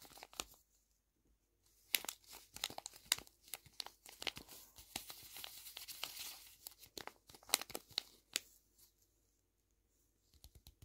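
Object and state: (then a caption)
Paper squishy being squeezed. Fingertips with short nails squeeze and press a small, flat, Hello Kitty-shaped paper squishy, stuffed and hollow-soft, turned from its plain white back to its drawn front. Dry, bright paper crinkling comes in quick clusters of sharp crackles, densest in the middle of the clip. Quieter pauses fall near the start and end, with a few soft crinkles closing it out.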